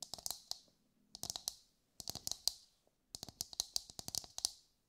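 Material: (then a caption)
Coconut shell. A brown, husked whole coconut with a hard fibrous shell is held in both hands and tapped with long light-grey nails. The taps come as quick, dry, bright clicks in four rapid bursts separated by short pauses, each tap stopping almost instantly with little low end.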